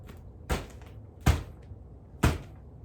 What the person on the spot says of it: hit this insulation with the palm of my hand in the most bassy way possible